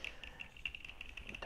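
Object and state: Sunglasses lenses tapped.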